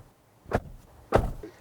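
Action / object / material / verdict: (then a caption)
strike / car door / metal / none. The door of an MG S5 EV is shaken and then slammed shut during a build-quality check. Two dull, low thuds are heard, a softer one followed by a louder slam, each with a brief rattle and almost no ring.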